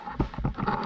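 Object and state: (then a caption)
Solid standing dead tree. Six dull, low thuds, with almost no ring, come from knocking on a standing dead tree trunk whose top has snapped off, to check whether its wood is good for a beam. The trunk sounds pretty solid, unlike an earlier punky one, and is to be felled with a chainsaw to judge the wood quality.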